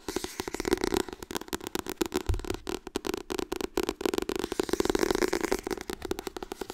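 Fast tapping on the softcover book 'Harry Potter en de steen der wijzen' produces a rapid, irregular run of short, dry taps. Each tap has a dull mid-range body around 360 Hz with a light papery crackle on top. The taps stop almost instantly, with no ring between them.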